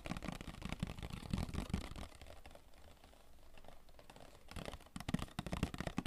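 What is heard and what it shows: Fingertips tap rapidly on the sides of a hollow, rectangular printed cardboard Royale tissue box held in the hands. The irregular taps are short, dull and hollow, with most of their weight low. The tapping softens through the middle of the clip, then turns quick and firm again at the end.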